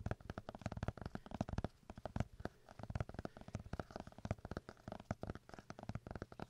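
A paper notebook is tapped rapidly with fingers, producing a dense run of soft, dull thuds with a low, hollow body. The taps are short and dry with almost no ring, coming in quick bursts with only brief pauses between them.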